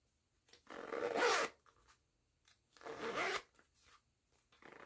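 Long-nailed fingers pull the metal pull along the yellow nylon zipper of a small pink and yellow woven jute-look fabric pouch. Two long, bright, raspy zipping strokes are heard, separated by softer taps and rustles. The sound is close and quiet.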